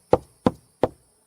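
Three knocks on a Class C RV wall over a wooden stud, part of the small 1x1 to 1x3 lumber framing. Each knock is a short, dull, solid thud centered around 500 Hz that dies away almost at once. The sound is solid rather than hollow, marking the stud's location.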